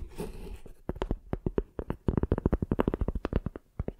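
Long dark painted nails scratch and then tap the ridged, fibrous tan side of a flat rectangular piece of tree bark held in both hands close to a microphone. A brief soft, rough scratching gives way to a rapid run of about two dozen short, dry taps with a low thump and a bright crackly edge, each dying away almost at once.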